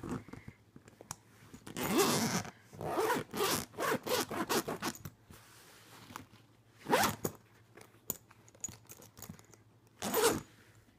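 Fingers grip the metal zipper pull on the front pocket of a purple jacquard fabric suitcase with black leather-look trim and zip it quickly open and closed. Raspy, bright zipping bursts come in quick runs of short strokes and longer pulls, with quiet pauses between them.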